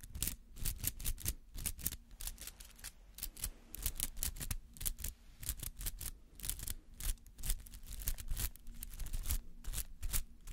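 A palm-sized white-green artificial rubber flower with spiky petals is held in one hand and scratched with the nails of the other. Rapid, uneven bursts of dry, bright scratching crackle over a faint steady low hum. Each stroke cuts off almost instantly, with no ring.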